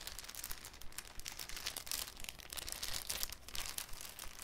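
A thin, clear cellophane sheet is handled with the fingertips, crinkled and folded into a cone. Dense, bright, broadband crackling comes in rapid, irregular bursts, with a faint low rumble underneath throughout.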